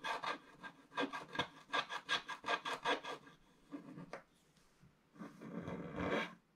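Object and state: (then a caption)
Scratch-art paper scraped with a wooden stylus. A wooden stylus scrapes the wax coating near the bottom of a flat scratch-art paper sheet, producing a quick, irregular run of short, dry, rasping strokes. After a brief pause with a couple of softer scratches, it ends in one longer, steady scrape, with the sound centered in the mids and bright upper range and little low end.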